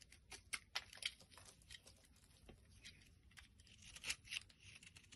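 A blade scrapes the edge of a solid pink soap bar held in the palm, and the shaved flakes fall onto a pile. The sound is quiet, dry, bright scraping and crackling in short, irregular bursts with no ring, peaking a few times where the cuts bite harder.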